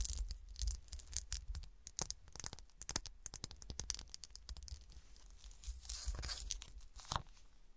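Fingertips and long nails scratch a small, solid cut-glass golf shoe figurine with a frosted, textured surface and studded sole as it is held and then set on a table. Dense bursts of short, dry, bright scratching and crinkly scraping follow one another, with brief pauses, over a faint low rumble.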